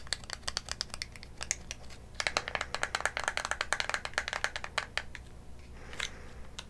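A small, hollow, white printed cardboard lipstick box, held in both hands close to a condenser mic and at one point near the mouth, is tapped and scratched with long manicured nails. A rapid series of crisp, dry taps sounds, each dying out almost instantly with a bright papery click, and a brief crinkly scratch comes near the end.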